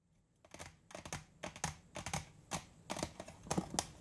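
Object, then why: Round metal cookie tin with lid. A large, round, printed metal butter cookie tin with its lid on is held upright and tapped on the lid and rim with fingertips and nails. Quick, uneven clusters of sharp, bright clicks and light tinny taps follow one another, each dying away almost at once.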